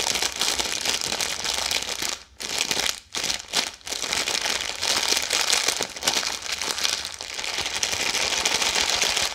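A full red plastic-film Maltesers snack bag is crumpled and squeezed fast between hands with long yellow nails. A dense, bright crinkling runs steadily throughout, broken by a few brief quiet gaps between about two and four seconds before resuming at full loudness.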